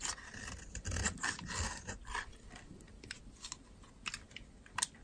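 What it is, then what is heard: Dry soap bar. A solid white bar of dry soap is scraped and carved with a metal utility knife blade, shedding dry powdery shavings. Quick, irregular crisp scrapes and crunchy cuts follow one another with bright, brittle texture, denser in the first two seconds and sparser afterward, with a couple of sharper cuts near the end.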